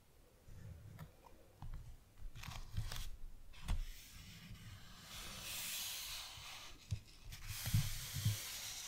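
Fingertips and palms rub and trace across the blank, lined cream pages of an open paper notebook lying flat. Soft, dry papery rustling and scraping come in uneven swells, with a steady low rumble beneath and several brief bright scratchy touches standing out.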